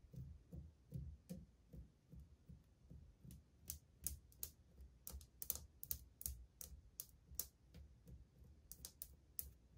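Long painted fingernails tap on old glazed white ceramic subway tiles on a wall, a solid surface, making about eighteen sharp, bright clicks in an uneven rhythm. Each tap is crisp and dies away almost instantly, over a soft low rumble.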